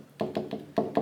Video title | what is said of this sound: How to Prep Your Canvas for Fluid Art 🎨 | That's not exactly level there, so this one's kind of floating.